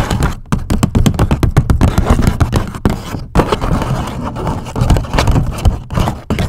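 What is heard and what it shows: Long nails scratch and tap along the folded top and sides of a medium-size grey paper gift bag with white polka dots, hollow and empty. The result is a dense, rapid stream of dull, papery taps and crinkly scrapes, heavy in low thumpy tones with little brightness. Each tap dies away almost instantly.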